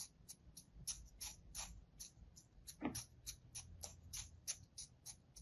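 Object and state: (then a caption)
Kinetic sand slab being sliced. A solid slab of kinetic sand resting on a palm is sliced and scored with a thin metal blade, producing a quick run of about eighteen short, crisp, bright crackles. The crackles sit over a faint low rumble, with one stronger, fuller cut near the middle.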